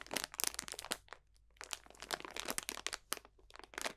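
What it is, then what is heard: Plastic bag of dried potpourri. A clear cellophane bag full of dried potpourri botanicals is squeezed and crunched with both hands. It makes bright, crisp crinkling and crackling bursts with almost no low end. The bursts come in clustered flurries, separated by brief quiet pauses.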